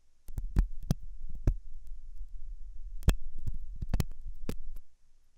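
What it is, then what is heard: Silicone ear microphone scratched with a metal tool. A thin hooked metal dental tool scratches inside the ear canal of a soft, solid-looking white silicone dummy ear on a binaural microphone. The result is a close, muffled, low rumbling scrape with irregular sharp clicks and thumps that end almost instantly. It runs steadily for about four and a half seconds before stopping.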